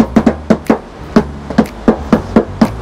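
Eleven quick knocks on a steel body panel of a 2022 Honda HR-V, checking that this spot is steel rather than plastic. Each knock gives a crisp, hollow tap centred around 220 Hz that dies away almost at once. The panel rings quite loudly when knocked, which is normal.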